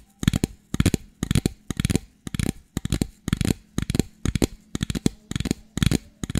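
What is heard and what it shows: A medium clear plastic drink bottle, hollow and seemingly empty, is held in both hands and tapped and squeezed with long fingernails. Quick bursts of several crackling taps repeat at a steady rhythm, each with a low, hollow thump and a brief bright click that dies away almost at once.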